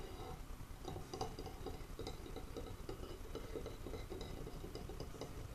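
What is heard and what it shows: Fingertips and nails tap and scratch a long, thin, solid wooden dowel from a towel rack lying on a table. The result is a quiet, steady stream of soft, dull taps with a brief hollow ring, mixed with faint scratching.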